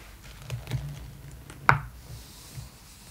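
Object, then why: Glossy magazine paper pages. Long acrylic nails trace and tap across the printed glossy paper pages of an open magazine lying flat, with soft scratchy strokes and three distinct taps, the loudest a sharp click around the middle. A page is turned near the end, giving a faint, bright papery rustle.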